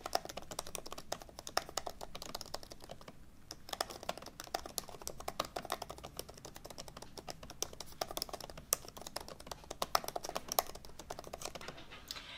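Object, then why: Laptop keyboard with plastic keys in an aluminium body. Both hands type fast with fingertips on the low-profile plastic keys of an open MacBook Pro laptop with a thin aluminum body. The result is a dense, steady stream of short, crisp key clicks with bright tops and almost no ring, with a few louder taps standing out.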